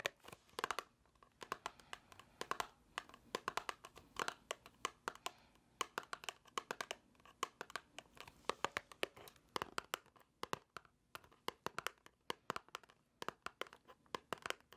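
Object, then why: Small paperboard box. A small, hollow white paperboard box is held in the hands and tapped and scratched with long nails. It makes quiet, crisp, clicky taps in quick irregular clusters, bright with almost no low end, mixed with soft scratching. Each tap dies away almost instantly.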